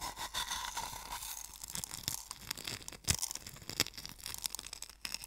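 Fingertips with painted nails grind and scratch coarse sea salt in a small wooden bowl. A steady, bright, gritty scratching is heard, with louder, sharper crunches breaking through at intervals.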